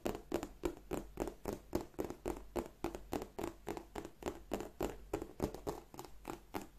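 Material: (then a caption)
Leather. Fingertips and long nails tap and scratch the embossed scales of a hollow black glossy croc-embossed leather bag. The result is a quiet, steady patter of short, dry taps, roughly three to four per second. Each tap has a soft low-mid body around 300 Hz and a faint scratchy edge that dies away almost instantly.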